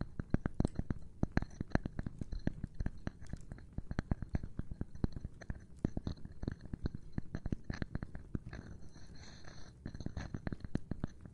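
Rapid, uneven tapping on a cork board in ASMR style, a dense run of dozens of short, dull, low thuds that die away almost instantly. The taps ease off briefly near the 9-second mark, with a faint brighter rustle, before picking up again.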